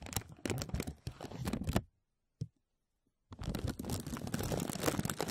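Fingertips press and rub a thin clear plastic film bag stretched over a microphone, producing dense, close crinkles with a full low body and bright crackling edges. The crinkling stops for about a second and a half, broken only by a single soft crackle, then resumes steadily until the end.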